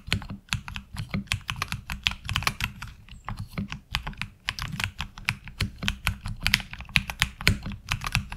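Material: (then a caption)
ABS plastic. Fingertips type steadily on a HyperX Alloy Origins Core mechanical keyboard with ABS keycaps, heard up close from the side. A rapid run of sharp, bright keystroke clacks each die away almost instantly, over a steady low hum.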